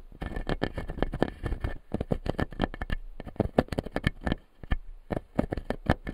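Fingertips and nails tap and scratch the blue plastic teeth of a clear acrylic lower-jaw dental model. The result is a rapid, uneven stream of short, dry clicks and taps with bright scratchy edges and almost no ring. Brief pauses break the clicks into quick bursts.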